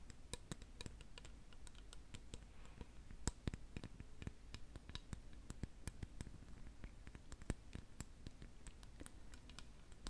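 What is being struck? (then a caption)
Painted lacquered wooden spoon. Long nails tap a large, solid, lacquered wooden spoon painted in Khokhloma style, first along the handle and then on the back of its red and gold bowl. The result is a steady stream of quiet, sharp, dry clicks with bright tips that stop almost instantly, over a faint low rumble.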